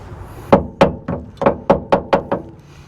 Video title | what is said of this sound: How to inspect your pickup truck's leaf spring suspension | See how it sounds solid? That usually means that your shackles are in good condition.